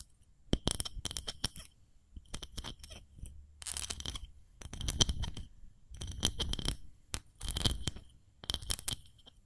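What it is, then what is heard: Ceramic fluted cake mold. Long fingernails tap a small, hollow, empty white fluted ceramic cake mold held up in both hands. The taps come in quick bursts of sharp clicks with a bright ringing tone near 3.1 kHz and very short decay, separated by brief pauses, over a soft low rumble.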